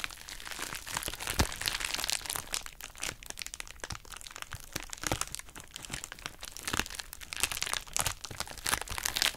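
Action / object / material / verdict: scrape / plastic bubble wrap pouch / plastic / none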